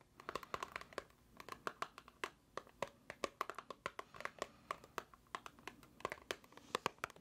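Long nails tap and scratch a small, hollow, white paperboard box held in the hands. The result is a quiet, steady stream of dozens of short, crisp clicks with a hollow, papery ring around 1.1 kHz. Soft crinkly scratching fills the gaps between taps.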